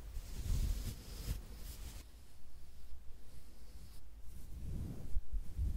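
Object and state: Nothing is struck.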